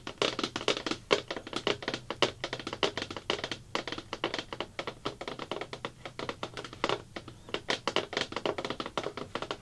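Fingertips, then long black nails, rapidly tap a thin, hollow-backed round blue plastic bucket lid. The result is a steady stream of short, dry, hollow taps with a mid-pitched body around 410 Hz and bright clicky edges that die away almost instantly.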